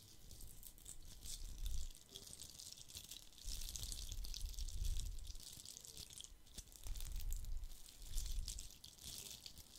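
Fingernails scratch a hollow, red glitter-covered plastic Christmas bauble with a gold cap, held close to the microphone. The result is a quiet, gritty rattle of bright scratchy crackle over a deep low rumble, rising and falling in uneven swells.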